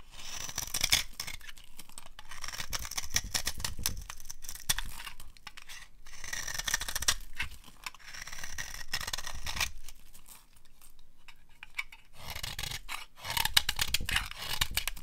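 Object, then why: Bar soap scraped with a knife blade. A utility knife blade scrapes and carves a solid, rectangular bar of dry brown soap, and flakes crumble away. Dense bursts of crisp, bright, crackly scraping come and go, with a low dull rumble underneath and brief quieter pauses between strokes.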